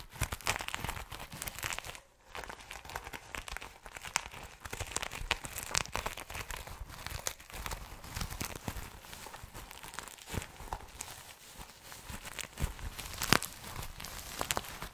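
Fingertips and nails scratch and brush the rainbow reversible sequins on a small, soft, hollow zippered cosmetic pouch held close to the mic. The result is a dense, continuous crinkly rustle with bright scratchy texture and scattered sharp clicks, broken by a brief near-silent pause around two seconds.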